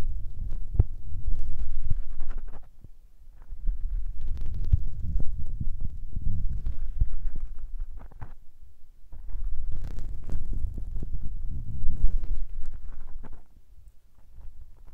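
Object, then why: Foam windscreens on recorder microphones. Fingertips rub and tap small grey foam windscreens covering a recorder's microphone capsules. The result is a dense, low, muffled thumping and rumbling, heavy in the deep bass, with brief faint scratchy brushing above it. It comes in long bursts separated by short quieter pauses.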